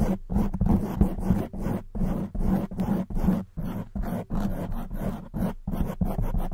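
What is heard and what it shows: Long white acrylic nails on both hands scratch a medium-size, soft, porous black open-cell foam windscreen fitted on a silver condenser microphone. The result is a deep, rumbling, crackly scratching that comes in quick, uneven bursts separated by brief silent gaps, heavy in low tones with a hum-like body and almost no high-end brightness.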